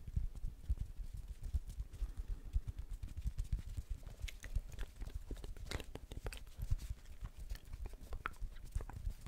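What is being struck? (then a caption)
Plastic ball. A blue plastic ball is tapped repeatedly, giving a steady run of short, dull, low taps with a hollow, clip-clop-like rhythm. A few brighter clicks come through midway, and each tap dies away almost at once.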